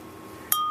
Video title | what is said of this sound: Sam Ramirez Piece 2 Thrown Pots | it's very nice clear ring compared to that dull thud